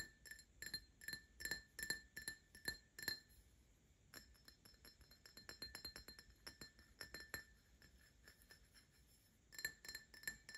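An empty Paladone Mario Kart pint-style glass tumbler with printed decals is held in the hand and tapped with fingertips and short nails. It gives quick, bright, ringing clinks with a steady mid tone under a high shimmer, each dying away fast. The taps come in irregular runs, louder at the start and end and softer and denser in the middle.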